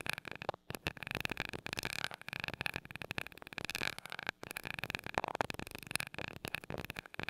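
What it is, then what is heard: Metal microphone grille. A glass rod taps rapidly on the small gold metal mesh grille of a mini microphone. Quick, dry, bright ticks and scratchy clicks follow one another with almost no ring, with a steady high metallic sheen around 2–3 kHz.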